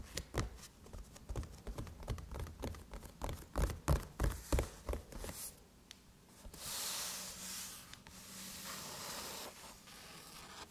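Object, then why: Aluminum laptop lid tapped and scratched with long nails. Long chrome nails tap quickly and unevenly on the closed lid of a silver aluminum MacBook, giving short, dull knocks with little ring. They then rub and scratch steadily across the brushed metal surface, making a soft, bright, airy scraping that swells and fades.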